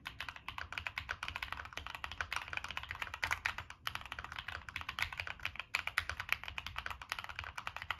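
Fingertips type steadily on a Monsgeek M1 mechanical keyboard with a dark metal case and purple and black plastic keycaps. The typing makes a rapid stream of short, bright, clacky key strikes that die away almost instantly. The occasional slightly louder stroke stands out over a faint low hum.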